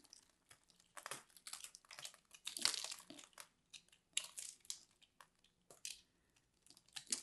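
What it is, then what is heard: Grated soap ball being scraped. A solid purple grated-soap ball held in the hand is carved and scraped with a metal blade tool, its pieces crumbling away. Irregular bursts of dry, bright crinkling and crunching scrapes come in quick clusters with short pauses between, each dying away almost at once and carrying almost no low end.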